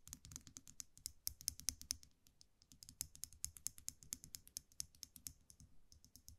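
A small metal eyelash curler is held in one hand while the fingers repeatedly click its mechanism. The result is a rapid, uneven run of short, dry, bright clicks with a faint low thump beneath them, pausing briefly around the middle before continuing.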